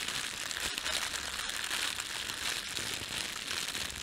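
Hands crumple a thin, red-and-white printed plastic bakery bread bag, then rub it flat. The result is a steady, bright crinkling with dense crackles, concentrated around 3.3 kHz and higher, and almost no low end.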